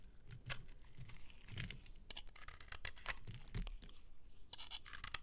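A metal utility-knife blade scrapes and crumbles soap off the end of a solid, palm-sized pink bar of soap held in the hand. The result is a run of short, dry, gritty scratches and crunches with bright, crisp edges over a soft low rumble.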